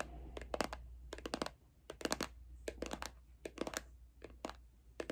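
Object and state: Plastic lotion bottle.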